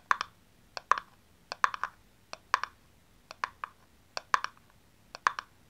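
Long fingernails tap and scratch the sides of a small, hollow blue plastic aerosol cap, taken off its spray can and held in the hands. About twenty sharp, hollow clicks fall in quick pairs and triplets, with a dry tone around 1.1 kHz. Each dies away almost instantly over a quiet background.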